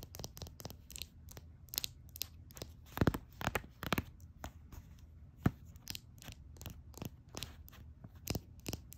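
Long nails tap and scratch a small, full, red glass nail polish bottle, producing a rapid, uneven series of sharp clicky taps. Each tap has a dull low body and a bright top that stops almost instantly, with a faint scratchy rustle between the taps.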